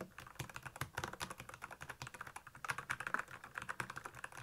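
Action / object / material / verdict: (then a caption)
tap / plastic mechanical keyboard / plastic / none. Fingertips type quickly on the backlit keys of a black plastic Royal Kludge mechanical keyboard, producing a steady, rapid run of short, dry keystroke clicks. Each click is bright and mid-pitched with a light low thump, and stops almost instantly with no ring.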